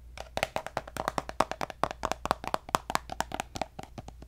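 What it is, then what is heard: Plastic squeeze tube. Fingertips and nails tap quickly on a hollow pink plastic lotion squeeze tube with a gold cap, producing 27 short, dry, hollow taps. Each tap has a light click and a woody tone near 625 Hz that dies away almost instantly, over a faint low hum.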